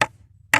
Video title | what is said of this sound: Nakita na nmin ang botas paponta sa gold. | May nakaharang siya na malapat na bato, no. Tigas,